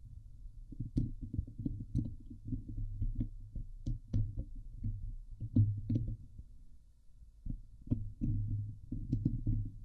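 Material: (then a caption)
Steel mesh. Both hands scratch the hollow steel mesh grille of a Blue Yeti microphone with long nails. The result is a dense, close, boomy rustle of rapid scrapes and taps centered around 100 Hz, with brief bright ticks on the sharper strokes. There is a short quieter lull near the end before the scratching picks up again.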